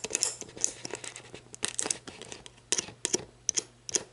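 Long black nails scratch the ridged base of an empty, hollow, clear plastic sports drink bottle, then tap and scratch its label and lower ridges while it stands upright. The result is bright, crinkly scratching broken by sharp, quick clicking taps that die away almost at once, with almost no low end.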